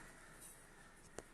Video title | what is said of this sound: Irish bread | knock it at the back. If you think there's a hollow sound coming, that means it's done.